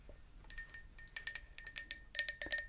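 A small hand-painted Italian Fima ceramic pot, made with a cutout for a little spoon and showing light crazing but no chips or cracks, is tapped in a quick run of light taps. Each tap gives a bright, high, chime-like clink that dies away almost at once.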